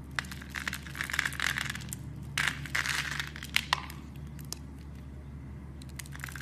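A utility knife cuts small cubes off a solid dark brown soap bar scored into a grid, producing dry, crisp crackling and crunching with bright, sharp snaps. The cutting comes in dense bursts over the first four seconds, then fades to faint scattered clicks over a steady low hum.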